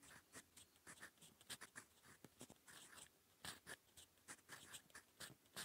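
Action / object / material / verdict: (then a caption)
scrape / metal pen nib on paper / paper / none. A gold metal fountain pen nib writing in purple ink on a cream lined notebook page gives quiet, dry scratching. Short bright strokes come in quick succession with soft pauses between them, each a crisp rasp of nib on paper.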